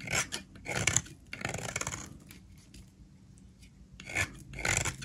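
A solid blue oval bar of soap is held in the hand while a utility knife blade scrapes across its face, peeling off shavings. Bursts of dry, bright rasping come in waves with quieter gaps between strokes.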